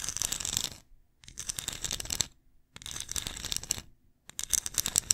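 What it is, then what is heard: Ceramic pumpkin ornament. Long nails tap and scratch a small hollow, glossy ceramic pumpkin ornament with lettering while it is turned in the hands. Four bursts of quick, bright clicking and scraping are separated by short silent pauses, with almost no low end and each tap dying away instantly.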